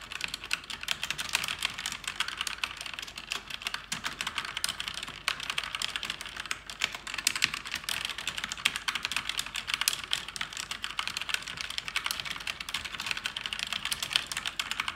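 Fingers type fast on a black, backlit plastic mechanical keyboard with plastic keycaps. Dense, rapid keystrokes make bright, sharp clicks and clacks that stop almost instantly, with almost no low end. The clatter stays steady for the whole clip.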